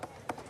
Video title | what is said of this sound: Angkor redécouvert | ça sonne creux en fait on sent très bien qu'il ya la couche supérieure du grès qui s'est soulevée